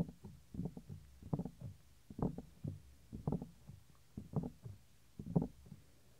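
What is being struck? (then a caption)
Silicone microphone ear. Fingertips rub and scratch the small, solid, white soft silicone ear of a 3Dio binaural microphone. Close, muffled, low thumping and scraping comes in short clustered bursts roughly once a second, with almost no high end and quiet gaps between.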